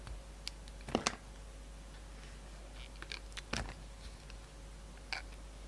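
A yellow utility knife blade shaves along the edges of a solid striped bar of soap, making a series of short, crisp scraping clicks and brief cuts that stand out over a faint, steady low hum. The sharp strokes cluster in a few quick bursts with quiet pauses between them.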